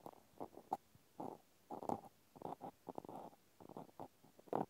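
A cotton swab tip scratches and pokes into the hole and slots of a small pink plastic clothespin held in one hand. It makes quiet, soft bursts of scratchy, hollow scraping with a midrange tone and occasional sharper clicks. The bursts come in an irregular series and die away quickly.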